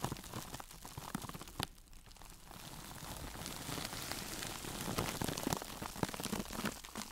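A single hand-sized woven sisal fiber mesh sponge is held up, squeezed and scratched with long nails and fingertips. It gives a dense, dry crackle of fast, irregular scratchy clicks across a broad, bright range. The sound dips briefly after a sharp snap, then builds steadily louder with sharper pops.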